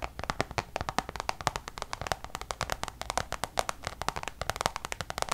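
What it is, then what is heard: Coated canvas pouch. Long nails tap quickly on a checkered coated-canvas Louis Vuitton designer pouch. It gives a rapid, uneven string of dozens of short, dry, clicky taps with a crisp, bright edge. Each tap stops almost instantly with no ring.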